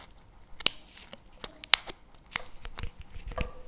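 Fingernails tap and scratch the plastic lid of a CremaNovi paperboard chocolate spread tub held in the hands. Sharp, bright clicks stand out from quiet, scratchy rustling and stop instantly with no ring.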